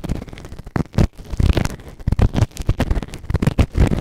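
A white plastic ear tool held in fingertips scrapes inside the ear canal of a grey silicone ear-shaped microphone on a round base, soft and solid. Close, muffled scratching and crackling bursts come in quick irregular strokes, heavy in the low end with little high detail.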